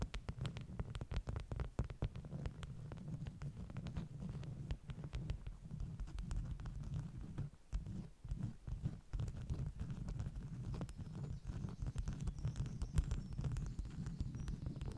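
Long nails tap and scratch the top sheets of a stack of flat beeswax-coated cotton wraps. Quick, dull taps follow one another in a steady flurry over a low, muffled rumble, with faint bright clicks and soft scratching between them. The sound stays close, soft and bass-heavy, with almost no ring after each tap.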